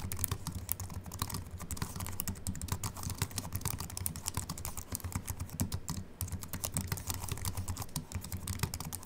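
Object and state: Aluminium and plastic keyboard being typed on.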